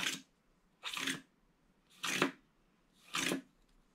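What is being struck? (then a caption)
Wax-coated foil scratch-art card scratched with a wooden stylus. A pointed wooden stylus scratches diagonal hatching lines through the black wax coating of a small, thin, flat rectangular Winnie the Pooh scratch-art card with gold foil paper beneath, lying on a paper-covered table and held down by one hand. Four separate, evenly spaced scratching strokes are heard, each a bright, crisp rasp with little low end, separated by near silence.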